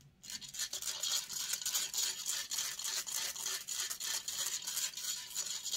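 Long acrylic nails scratch rapidly and aggressively across the hollow metal mesh grille of a silver microphone. After a brief quiet start, there is a steady run of harsh, bright, hissing scrapes at about three to four strokes per second, with almost no low end. The strokes come in uneven rhythm and each stops dead with no ring.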